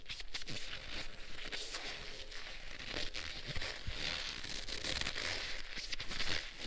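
Black leather gloves worn on both hands are wrung and squeezed together, making steady leather creaking with crinkly, bright friction over a low rumble. The rubbing goes on continuously for the whole clip, with brief louder squeaks.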